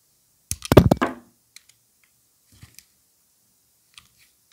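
A solid white stamped bar of soap, held in a gloved hand, is cut and shaved with a utility knife blade. A dense burst of crisp, crunchy cutting clicks comes first, followed by a few faint, scattered ticks as the shavings break away.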